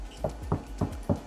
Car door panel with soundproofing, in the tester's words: Padat bunyi dia. Memang dah sangat padat.